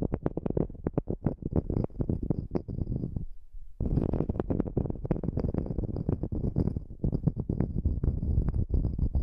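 A small, flat, solid wood slice coaster is held on edge above the microphone while long nails scratch along its edge and face. The result is a dense run of quick, dry, low, hollow scratches and clicks, broken by a brief near-silent pause a little past three seconds before the scratching resumes.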